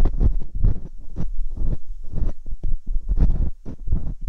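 Metal dental picks scratch steadily inside both ear canals of a pair of silicone binaural microphone ears. The close scraping comes through as dense, low, rumbling bursts of friction with occasional brighter clicks, rising and falling continuously without pause.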